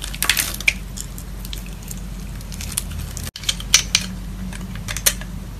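A metal box-cutter blade scores and scratches a grid pattern into a solid dark green-black bar of soap held in a palm with long neon nails. Bright, crisp scraping and sharp clicky scratches run over a steady low hum, broken by a brief moment of silence near the middle.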